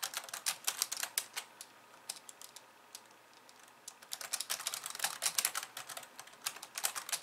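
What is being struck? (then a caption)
Plastic computer keyboard keys. Long polished nails type with both hands on the plastic keys of a compact pink and white plastic computer keyboard. Bright, crisp clicks with almost no low end come in quick, irregular bursts. They thin out to sparse, softer taps in the middle before picking back up.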